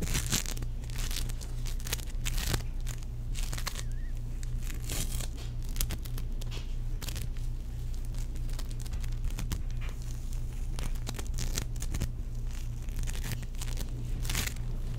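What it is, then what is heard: Sticky bead foam being kneaded. Bare fingertips squeeze, knead, pull apart and press back together a palm-sized, teal, solid ball of sticky bead foam (moldable play foam). Irregular crackly tearing and crunching bursts run throughout over a steady low hum.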